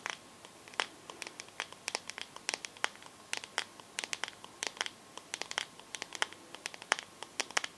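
Long nails tap and scratch quickly across the glass back of a teal smartphone held sideways. About 44 sharp, dry clicks come in an irregular patter, with faint scratchy rustling between them. The taps are bright and light, with no low end, and each one stops instantly without ringing.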